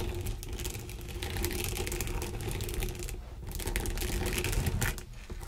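A flat, mitten-shaped textured sponge contouring glove resting on a bamboo board is scratched and dragged over by long green nails while fingertips press and rub it. The result is a dense run of fine scratchy, crackling taps over a low rumble, with a brief quieter dip around the middle before the rubbing picks up again.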